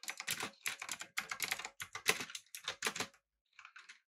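Fingertips type on a backlit, typewriter-style mechanical keyboard with round plastic keycaps. Bright, clicky keystrokes arrive in irregular bursts, then pause briefly before a softer final flurry of taps.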